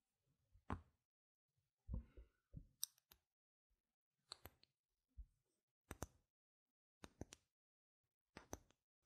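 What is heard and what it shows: A single small, solid, white-rimmed round plastic game gem token is held in the palm while long red nails tap and scratch its face and rim. Quiet, sharp clicks with bright high edges and soft low thuds come in spaced clusters, each dying away almost instantly.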